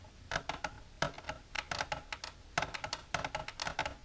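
Long silver nails tap against the inside walls of a long, empty, transparent plastic tray with a divider, lying on a table. About twenty quick, dry clicks come in uneven bursts, each with a bright, hollow plastic tone near 680 Hz that dies away almost at once.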